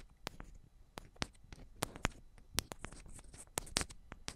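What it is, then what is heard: Metal microphone body tapped with fingernails. Long pointed ombre nails tap on the tops of two identical silver metal cylindrical microphones. The result is a quick, irregular series of soft, sharp clicks with bright highs and a low thump beneath, each dying away almost instantly.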